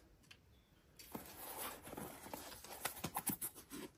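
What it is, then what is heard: Basketball shoe with rubber/foam sole. Fingertips and short nails scratch and rub the textured hexagon-pattern rubber/foam midsole and synthetic upper of a pink and black Adidas basketball shoe. The shoe is hollow and empty and is held in both hands over its box, with a second shoe resting untouched on the box. After a faint start, quiet, dry scratching and rubbing builds into an irregular run of short, bright scrapes and taps that stop quickly.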